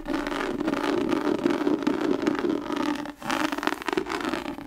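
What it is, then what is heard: Tooled leather book cover, scratched. Long nails scratch and brush over the raised, tooled pattern on the front cover of an embossed tan leather-covered book held upright. The result is a steady, dense scratchy rustle with a mid-range tone around 340 Hz and crackly texture, briefly dropping off near the three-second mark before resuming.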